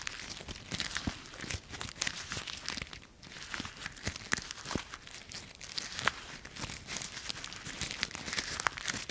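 A handful of dry brown autumn leaves is repeatedly squeezed and crumpled in a fist with bare fingers. The result is a dense, bright crackling and crunching, full of sharp little snaps that die away almost instantly. The texture runs steadily for about nine seconds, easing briefly around the three-second mark.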